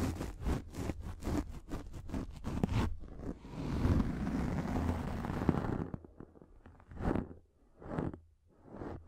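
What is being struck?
Microfiber pad.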